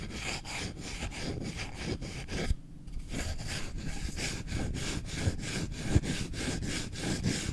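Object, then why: Wooden spoon. A solid wooden spoon is scratched with short nails and fingertips, first on the bowl and then along the long handle. Fast, rough scratching strokes repeat in a steady rhythm with a bright, raspy edge over a dense low rumble, pausing briefly just before the three-second mark before resuming.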